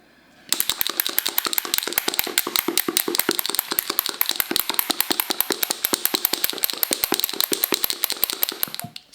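A glass jar of still-liquid cream with a marble inside is shaken early in butter-making, before the cream whips. The marble clunks against the glass in a fast, steady run of about 59 sharp, bright clicks over roughly eight and a half seconds. The clicks stop abruptly at the end.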